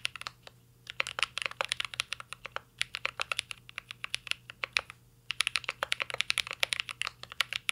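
A mint-green Cyberboard R3 mechanical keyboard with a metal case and plastic keycaps is typed on continuously with the fingertips. It makes rapid, bright, sharp clacks that die away almost instantly, in uneven bursts with brief pauses between runs of keystrokes.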